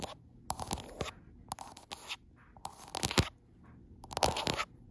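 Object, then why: Glass smartphone back. Long acrylic nails tap and scratch the frosted glass back of a gold iPhone Pro, near the camera lenses. The result is irregular bursts of dry, bright scraping and crunchy clicks that stop almost instantly, separated by short quiet gaps.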